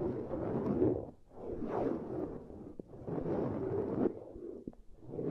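Long grey nails on both hands scratch and trace along the concentric ridges of a flat, hand-span-sized black silicone pad lying on cork coasters. The result is a soft, dull, midrange scratching that rises and falls in slow, sweeping waves, with a few brief clicks between strokes.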